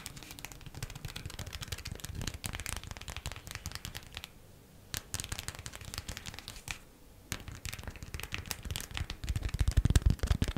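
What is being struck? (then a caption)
Waxed cotton food wrap. A folded, green printed waxed cotton beeswax food wrap is tapped and scratched with long nails, giving fast, dense, crinkly taps and scratches. Two brief near-silent pauses break the sound, and it grows louder and heavier toward the end.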